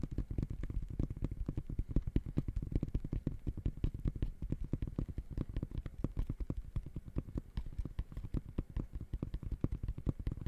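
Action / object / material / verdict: tap / synthetic mesh sneaker upper / textile mesh / none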